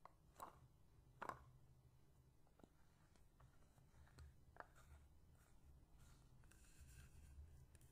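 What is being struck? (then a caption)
Frosted plastic bottle. Long painted fingernails scratch and tap along the side of a medium, hollow, apparently empty translucent white frosted plastic bottle held horizontally. A few sharp, hollow taps with a brief ring stand out over quiet, soft scratching and a low background rumble.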